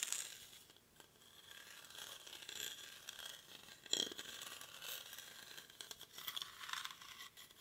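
A hollow, cylindrical woven rattan or reed basket is held in both hands close to the mic and scratched along its woven surface with short fingernails and fingertips. The result is a quiet, bright, dry, crackly scratching that rises and falls in small bursts, with almost no low end.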